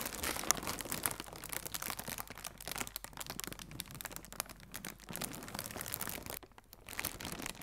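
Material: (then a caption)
Plastic. Fingertips with red nails stretch and crinkle a hollow strip of blue plastic air cushion packaging. Dense, bright crinkling and crackling runs throughout, dipping briefly near the end before resuming.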